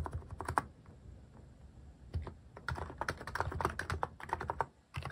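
Fingertips type on a plastic mechanical keyboard with cat-shaped plastic keycaps, producing quick clacking keystrokes with a low thock and a crisp click. A burst of typing is followed by a quieter pause of over a second, then a faster, denser run of keystrokes that ends in a brief lull and a few final presses.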